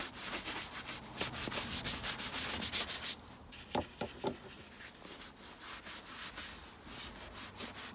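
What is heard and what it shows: A round wooden-handled bristle brush held in the hand scrubs a tall tan leather boot, hollow and empty, that is held up and covered in soapy lather, in a continuous rub. Quick, bright, scratchy brush strokes fill the first three seconds, then the scrubbing turns softer and quieter, with a few sharp squeaky swipes before the rhythmic rubbing builds again.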